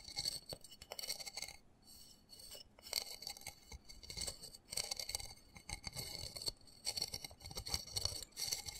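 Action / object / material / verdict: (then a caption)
tap / small plastic flower pot / plastic / none. Fingernails tap and scratch the rim and side of a small black embossed plastic flower pot holding soil and a cactus. Quick, crisp clicks and dry scraping run in dense bursts with brief pauses, the sound bright and high with almost no ring or low end.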